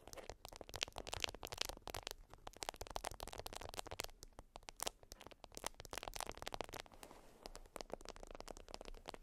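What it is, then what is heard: Beeswax wrap scratched by nails. Long acrylic nails scratch a flat, folded beeswax wrap of wax-coated cotton. Quick, dense crackling scrapes and scratches come in rapid bursts with bright high-frequency texture, a faint low rumble underneath, and no ringing after each stroke.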